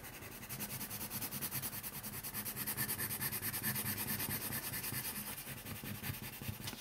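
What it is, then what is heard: Pencil coloring on a paper sheet. A colored pencil held in the fingers is rubbed and scratched quickly across a thin printed coloring sheet lying on a wooden table. It makes a continuous, fast back-and-forth scratchy rubbing with a bright papery hiss over a soft low thudding against the table. The strokes stay steady and quiet throughout.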